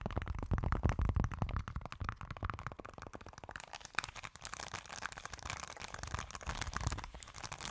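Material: Silicone.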